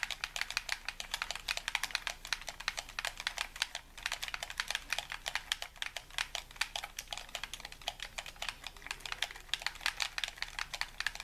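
A hollow white plastic game controller is held in both hands while fingertips and thumbs rapidly tap and click its buttons. The result is a steady stream of sharp, bright plastic clicks with very short decay and almost no low end.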